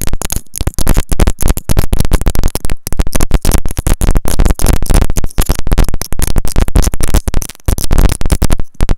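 A white plastic earphone inline remote and mic is tapped and scratched with long nails. Close, loud, dense tapping and scratching follows in quick bursts, with heavy low thumps and brief crackly bright edges.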